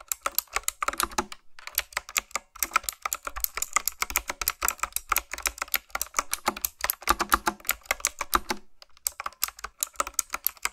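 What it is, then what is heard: Mechanical keyboard with round plastic keycaps being typed on. Fingertips with long nails type quickly on a retro, typewriter-style mechanical keyboard with round plastic keycaps. They produce a steady stream of sharp, bright clicks that die away almost instantly. The typing has short pauses around 1.5, 2.5 and 9 seconds.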